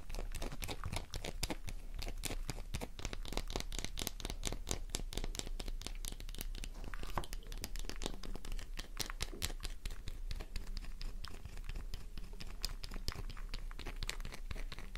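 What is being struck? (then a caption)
Bar of soap. A worn, solid pink soap bar held in the palm is scratched quickly with long nails, sending flakes falling. Dense, rapid dry scratches and crinkly scrapes run steadily through the whole clip over a constant low hum, each stroke short and bright with no ring.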